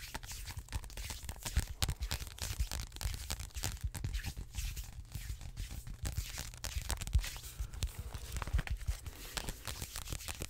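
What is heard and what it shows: Fingertips scratch and tap the glossy card cover of a large, thick, solid paperback biology textbook held in both hands and riffle its paper pages. The result is a dense run of crinkly, tearing-like scratches and soft taps over a steady low hum.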